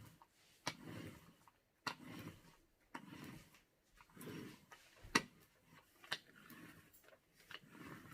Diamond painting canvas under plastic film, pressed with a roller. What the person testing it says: On entend qu'il y a encore des bulles.